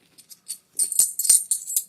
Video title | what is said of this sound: I Paid $1 Over Spot For All This Silver - But How Do I Know That It's Real? | you hear that clank it's a dull clank